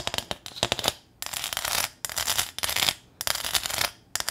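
Long acrylic nails scratch and tap the ridged surface of a small, flat corrugated metal welcome sign with a ribbon bow, held up close. Quick, sharp, bright taps alternate with longer, dry, rasping scrapes along the ridges, all high and crisp with almost no low end and no ring after each contact.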